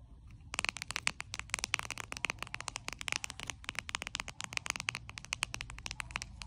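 Long acrylic nails tap and scratch the surface of a flat, glossy pink plastic card holder with a Marie cat print, lying on a white sheet. After about half a second of quiet, a dense run of dozens of sharp, bright clicks and light scratches follows, with almost no low end and no ring after each tap.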